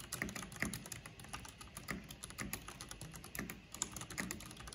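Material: Plastic.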